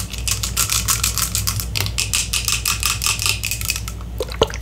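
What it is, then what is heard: Glass serum bottle. Long acrylic nails tap and scratch quickly on the glass sides and label of a small, full clear glass serum bottle that holds amber-gold liquid and has a gold pump top. The bottle is held in one hand. The result is a steady stream of rapid, bright clicks and scrapes over a low hum, ending with a few sharper taps.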